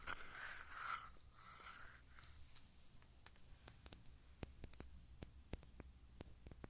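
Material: Glass, plastic.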